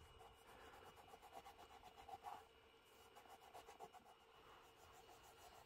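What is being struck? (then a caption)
Leather shoe and microfiber cloth. A black smooth leather Birkenstock Mary Jane shoe, held in hand, is wiped down with a grey microfiber cloth along the upper and the sole edge. Quiet, steady rhythmic rubbing strokes give a soft, scratchy swish centred in the midrange around 740 Hz, with a few slightly louder passes near the middle.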